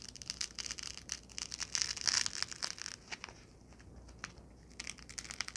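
A small white foam packing block, held in both hands, is squeezed and crushed with fingertips and long nails. It gives off dense, bright crackling and squeaky crunching in irregular bursts, with a quieter, lighter stretch in the middle before the crunching picks up again.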